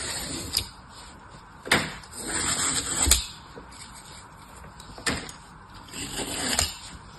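A solid green floral foam block is scraped and sliced with an orange utility knife while the other hand steadies it, and fingertips with long nails touch the foam. Sharp, bright crunching cuts stand out over a soft, airy scraping hiss, with quiet pauses between strokes.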